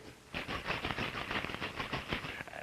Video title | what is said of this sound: New York World Fairs Complete Documentary Movie | when in motion, the Baymau becomes a liquid